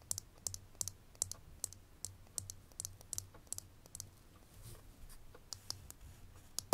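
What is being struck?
Small ridged glass perfume bottle tapped with fingernails.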